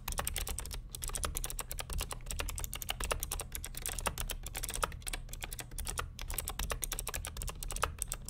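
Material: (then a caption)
Plastic. Fingertips of both hands type continuously on the plastic keycaps of a vintage beige NMB RT8255cw+ mechanical keyboard with clicky Hi-Tek "Space Invader" switches and a hollow plastic case. The result is a fast, dense stream of sharp, bright clicks that die away almost instantly, with a clacking tone around 1.3 kHz. A steady low hum sits underneath throughout.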